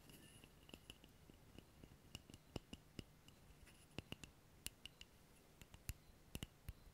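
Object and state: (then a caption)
Wooden object. Fingertips tap on a wooden object in a quick, irregular series of sharp, dry clicks that stop almost instantly. A faint low hum and soft hiss run steadily underneath.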